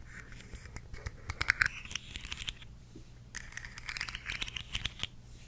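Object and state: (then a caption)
Plastic segmented slug fidget toy. Long decorated nails tap and scratch along the ridged, hollow segments of a hand-sized rainbow plastic articulated slug fidget toy. Quick, dry clicks and scraping rasps come in bursts with bright, crackly texture and no ring. A low steady hum runs underneath.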